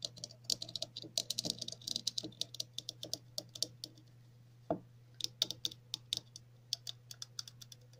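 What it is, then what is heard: Plastic cap tapped and scratched with nails. Long natural nails scratch and tap along the ridged, grooved sides of a red plastic cap held in the hands. The result is a rapid, uneven run of dozens of sharp, bright clicks and ticks, with a brief lull just before the five-second mark. A faint steady low hum sits underneath.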